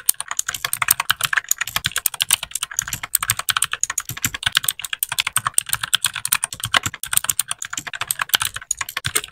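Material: Plastic.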